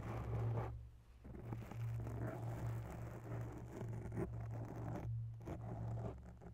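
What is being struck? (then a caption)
Foam microphone windscreen. Long bare nails slowly scratch the sides of a grey foam microphone windscreen. The result is a soft, muffled, rustling scrape over a steady low hum, with brief quiet gaps around one second and five seconds in.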